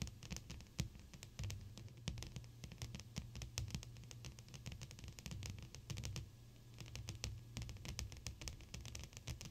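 Long blue acrylic nails tap quickly on a large, flat, clear sheet of solid glass, with the fingertips pressed to the glass. The result is a rapid run of sharp, dry, clicky taps, like typing on a keyboard, each bright and ending instantly. A steady low hum runs underneath.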